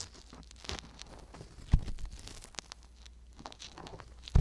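A wooden-handled ear pick with a thin metal tip scratches and scrapes inside the canal of a soft silicone ear on a hollow white binaural microphone body, held in hand, working around the black mic capsule. Quiet, dry crinkling and tearing-like scratches run throughout, with bright crackles and two louder low, muffled thumps near the middle and at the very end.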